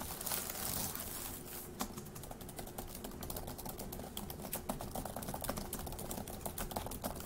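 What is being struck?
Plastic laptop keyboard.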